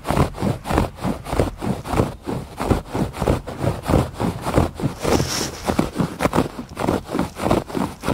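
Fingertips and nails scratch back and forth across a thick woven fabric rug on a porch. The result is a steady series of soft, dull, rasping strokes in a loose rhythm, each swelling and fading quickly, with most of the energy low and little brightness.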